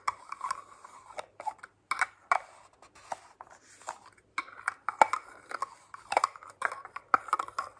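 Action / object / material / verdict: tap / glass spray bottle with metal collar / glass, metal / none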